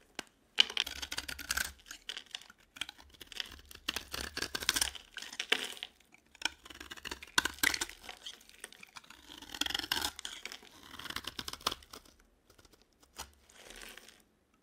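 A utility knife blade scrapes and carves a yellow, palm-sized dry solid bar of soap into flakes. The result is crisp, bright scratching and crackling in short bursts separated by brief pauses, with almost no low end and no ringing.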